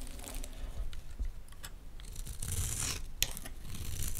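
A utility knife blade cuts into a solid green Dalan olive oil bar soap held in the hands, carving off flakes. The cut makes a steady dry scraping and rasping with a low rumble and bright, hissy bursts, plus one sharp click near the end.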